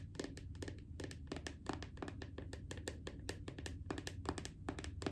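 A small round plastic jar of strawberry body butter, seemingly full, with a red and black screw lid, is held in one hand while painted nails of medium length tap and scratch its lid. Quick, dry clicks and scrapes come in a steady, busy stream over a low background hum, each one dying away almost at once.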